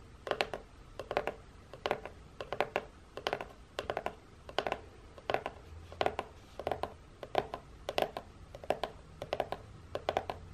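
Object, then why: Corrugated cardboard box. Long painted nails tap and scratch the folded end of a hollow, printed corrugated cardboard box up close. Quick clusters of dry, clicky taps repeat at a steady rhythm of roughly every two-thirds of a second, each with a hollow midrange knock and a bright scratchy edge that dies away almost at once.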